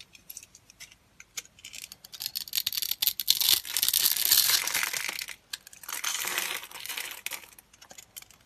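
A solid, palm-sized white bar of dry soap is held in the hand, scored in a grid and then shaved with a utility knife blade, breaking off crunchy cubes. Sharp, dry crunching and scraping sounds, bright and high with almost no low end, come in irregular bursts, swelling into longer continuous scrapes in the middle before trailing off into scattered crackles.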